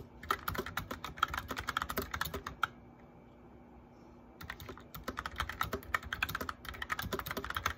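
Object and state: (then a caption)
Plastic mechanical keyboard. Fingertips and medium-length nails of both hands type steadily on a full-size white plastic mechanical keyboard with backlit keycaps and a hollow case. The rapid keystrokes make sharp, bright clacks with a hollow plastic knock, each dying away almost instantly. The typing stops for about a second and a half in the middle, then resumes at the same brisk pace.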